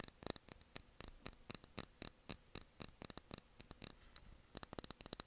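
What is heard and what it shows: Long nails tap the glass of a small glass candle jar filled with blue wax, its cork lid on. Quick, uneven bursts of sharp, bright clicks follow one another, each dying away almost instantly with no ring, over a quiet background hiss.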